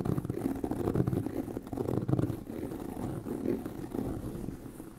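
Fingernails of both hands scratch across a tan pebbled leather handbag with a hollow body. The result is a dense, continuous rough scratching with a muffled, low, hollow rumble and almost no bright top end, swelling and easing slightly over the clip.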